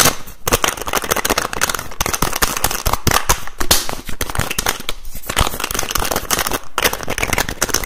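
Fingers rapidly tap and twist the teal plastic cap of a white plastic bottle held close to the mic. Dense, fast, crackling clicks and taps run continuously throughout, with short bursts of bright plastic snaps over a low thumping undertone.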